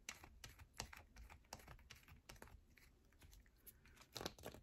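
A solid yellow bar of soap is scratched quickly with long nails, making a run of short, dry, bright scratches and clicky taps that sound much like typing on a keyboard. The sounds are quiet, with a faint low hum underneath, and a louder cluster of scratches comes near the end.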